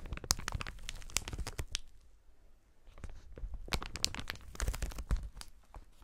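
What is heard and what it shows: Gloved fingers grip and squeeze a clear, inflated plastic air-cushion packaging strip with hollow cells, producing sharp, bright crinkles and crackles over dull low thumps. The crinkling comes in two busy bursts separated by a quieter lull of about a second, and each snap dies away almost instantly.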